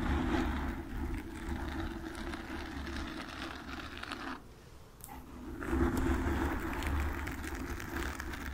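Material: Foam.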